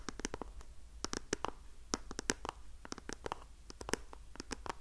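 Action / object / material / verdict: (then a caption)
tap / small printed cardboard box / cardboard / none. A small printed pink cardboard box of facial sheet masks is held upright in the hand near the mic while long painted nails scratch and tap its printed face. Quick, dry clicks and scratches come in an irregular, rapid run, each dying out almost instantly and ringing bright over a low, steady background hiss.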